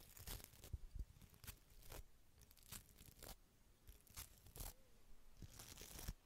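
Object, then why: Small faceted glass bottle. A small hollow red glass bottle with a faceted, sparkly surface is held in the hand and scratched and tapped with long red nails and a small brush. Quiet, crisp scratching bursts with a bright, crinkly texture alternate with short dry taps that die away almost instantly.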